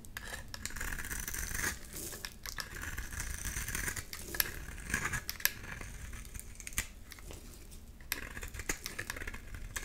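A solid yellow oval bar of soap, held in the hand, is scraped by a metal blade into crumbly shavings. Steady dry, crinkly scraping with a bright rasp is heard, broken by a few sharper sudden clicks.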